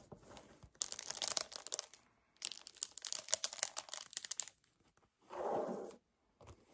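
A hollow 1 L white paperboard kefir carton is tapped with fingertips and nails and squeezed. Two long bursts of fast, bright crinkling and crunching taps are followed by a softer, muffled squeeze and a few faint taps at the end.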